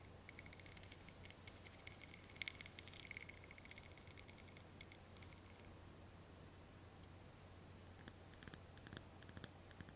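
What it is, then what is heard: Ribbed glass candle holder tapped with nails. A small ribbed glass candle holder filled with solid pink wax is held in the hands while long painted nails tap and scratch its ribbed glass sides. Quiet, rapid clicks and scratches carry a faint high ringing, with the sharpest taps near the start and lighter tapping toward the end. A steady low hum sits underneath throughout.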